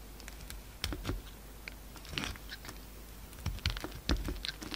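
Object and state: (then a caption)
Soap bar being shaved. A solid peach soap bar held in the hand is shaved into crumbly curls with a utility-knife blade. Short, dry scraping and crunching cuts crackle brightly over a steady low hum, with the strongest strokes bunched near the middle and end.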